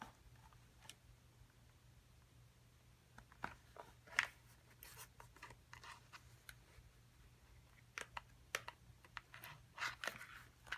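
Long acrylic nails tap and scratch a small printed cardboard box for an excavation kit, hollow with contents inside, while it is held and set on the table. Quiet, dry, bright taps and scratchy rustles come in scattered bursts over a faint steady low hum, each tap dying away almost instantly.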